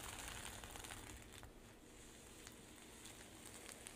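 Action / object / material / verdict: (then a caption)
scrape / sequin-covered fabric pouch / plastic sequins / none. Long pink nails scratch and flip the sequins on a flat rainbow sequin fabric pouch, then palms rub across its surface. The result is a quiet, steady stream of crisp crackling and bright, hissy rustling, with small ticks of flipping sequins scattered throughout.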